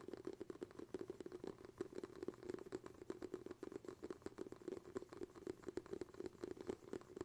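Fingertips tap rapidly on the bamboo lid of a glass jar, making a quiet, continuous patter of short, dry knocks. Each tap dies away almost at once, over a steady hollow tone in the low-mid range.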